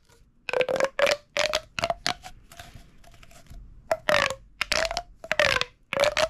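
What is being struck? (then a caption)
Corrugated plastic pop tube. A large, hollow, flexible purple corrugated plastic pop tube toy, held in both hands over a wooden table, is squeezed, twisted, and stretched and compressed by fingertips along its ribs. This produces a series of short, bright bursts of ridged rubbing and popping, each carrying a hollow tonal whine around 600 Hz. Quieter scraping fills the pauses between bursts.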